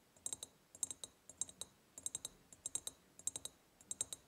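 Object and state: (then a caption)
Ribbed glass jar tapped with nails. Long painted nails tap quickly on the ribbed sides of a large, empty, hollow glass jar, in seven rapid bursts of about four taps each. The taps are sharp, bright clicks with a short, high glassy ring and almost no low end.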